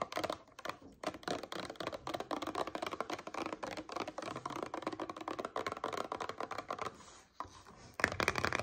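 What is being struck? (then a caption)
Paperboard drink carton. Long nails tap and scratch the surface of a paperboard coconut water carton with a blue plastic cap, first held in the hand and then lying on a table. Dense, quick, dry clicks and papery scratches with almost no ring run throughout, with a brief quieter pause near the end before a few sharper, brighter taps.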